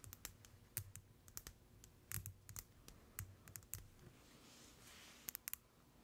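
A hand-sized white plastic cosmetic jar with a black screw lid is held in the hands and tapped with long acrylic nails. The result is a quiet, irregular run of short, sharp clicks with bright edges and a low hollow knock, each dying away almost at once. Near the end comes a soft brushing hiss, then a final cluster of quick taps.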